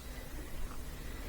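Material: Nothing is struck.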